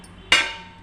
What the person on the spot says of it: ఇట్లా కొడితే టంగ్ అని సౌండ్ వస్తుంది